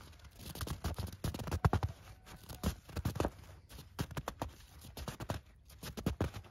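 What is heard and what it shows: Bare hands dig into and squeeze packed snow on the ground, crushing clumps between the fingers. The result is a quick run of short, dry crunches and crackles, heavy in the low end and dying out instantly, with brief pauses between squeezes.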